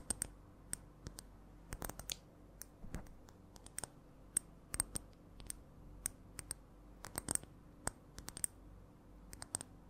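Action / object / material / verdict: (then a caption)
tap / glass perfume bottle with metal cap / glass / none. Long nails tap a clear glass perfume bottle with a metal cap, partly filled, in an irregular, changing rhythm of dozens of quiet, sharp clicks. Each tap is a brief, bright tick with a faint high glassy tinge that dies away almost instantly, over a low, steady background hum.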